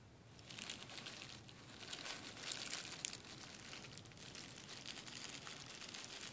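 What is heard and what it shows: A large flat sheet of clear plastic bubble wrap lying on a desk is tapped and pressed with fingertips and short nails. A continuous, bright crinkling and crackling is heard, with sharp little clicks standing out above it.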